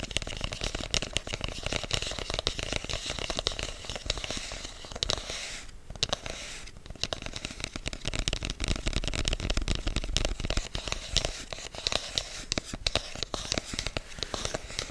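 A hand-sized black rigid cardboard product box, closed and hollow, is tapped and scratched with fingertips and short nails. Dense, crackly scratching and quick dry taps run throughout, with a hollow low thump beneath a bright rasp. The sound briefly thins out around the middle before the busy scratching resumes.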